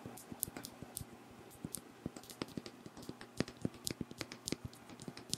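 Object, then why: Faceted glass perfume bottle. A hand-sized pink Versace Bright Crystal perfume bottle, faceted glass with a crystal-style cap and filled with pink liquid, is held close to the mic while fingernails tap and scratch its facets. Quick, irregular, dry clicks and bright ticks sound over a soft scratchy hiss, each dying away almost instantly.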